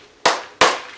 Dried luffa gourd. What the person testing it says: you can hear that it sounds hollow inside